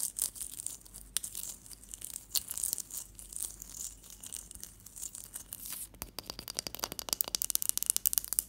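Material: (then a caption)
Ice. Long patterned fingernails and fingertips tap and scratch the top of a large, solid, clear ice block resting on a teal cloth. Soft, bright scratching and rubbing fills the first six seconds. It then gives way to a quick run of sharp, crisp nail taps that grow louder toward the end.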